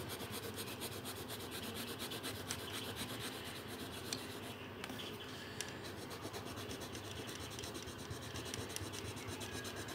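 A pink-bodied blue felt-tip marker is rubbed back and forth over a thin paper colouring sheet resting on a table in colouring strokes. It makes a continuous, soft, scratchy rasp with a loose rhythm and occasional bright little ticks, staying quiet and even throughout.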